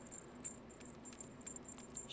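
A new metal anklet with a bell on the end and seven textured, oxidized starfish charms is shaken. It makes a quiet, continuous high jingle of small bell and charm tinkles, with brief brighter clinks scattered throughout.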